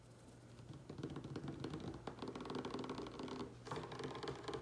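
Fingertips and short nails of both hands tap rapidly on a large, solid wooden tabletop, making quiet, irregular, dry clicks that ring only briefly. The tapping starts soft, grows denser and louder after about a second, dips briefly near the three-and-a-half-second mark, then picks up again over a faint, steady low hum.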